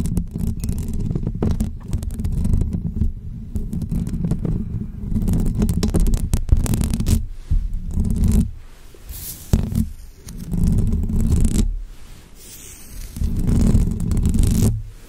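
Long fake nails scratch up and down the hollow metal mesh grille of a bare pink condenser microphone with both hands. The result is a dense, low, rumbling scrape that swells and fades in waves, with brief near-silent gaps and thin bright scratchy edges.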